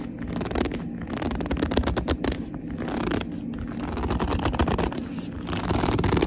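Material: Leather.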